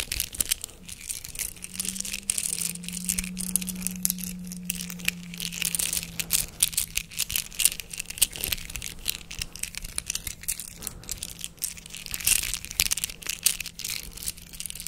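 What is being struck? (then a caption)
Hollow plastic chain links. A chain of large, hollow white plastic links is held in both hands close to the microphone while the fingers pull, clack and rattle the links against each other. Dense, bright, crisp clicks and crinkly rattling run throughout, with a faint low steady hum underneath.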